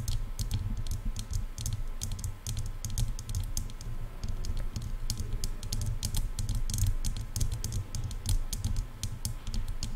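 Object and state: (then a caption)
Plastic headphone ear cups tapped with nails. Long painted nails on both hands rapidly tap the large, silver, hollow plastic ear cups of over-ear headphones resting on a mic. Dense, bright, clicky taps with very short decay stream continuously over a strong, steady low rumble.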